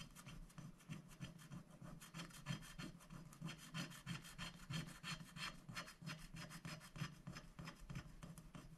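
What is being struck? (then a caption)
Black-coated scratch-art paper sheet scraped with a wooden stick. A wooden stick scratches the black coating off a thin, flat paper scratch-art sticker sheet lying on a glass board while a hand holds the sheet steady. Quick, fairly regular raspy strokes repeat about three times per second, with a dry bright scrape over a low, soft body. Each stroke stops dead with no ring.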